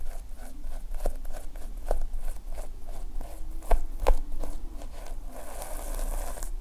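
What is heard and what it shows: A fingertip drags through the red and black plastic sequin fabric cover of a small notepad lying flat, flipping the sequins to draw a heart shape. It makes soft, irregular scratchy rustling with quick ticking clicks as the sequins flip over. There is a low rumble underneath and a brighter hiss toward the end.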